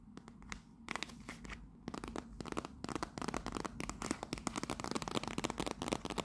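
A hollow, rectangular teal printed cardboard tea box labeled "Royal Blend" is held upright in both hands and tapped and scratched with long pink nails. The clip is a quick run of dry, crisp taps with short, scratchy, crinkly strokes between them. The taps grow denser and louder toward the end.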